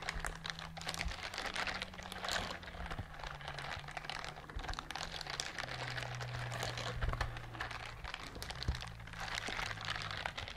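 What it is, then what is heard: Silicone scrubber glove scratched with nails. A pink silicone bristled scrubber glove is scratched and rubbed with long nails, producing a dense, continuous stream of fine crackling, ticking scratches that brighten into the high range. A low steady hum runs underneath throughout.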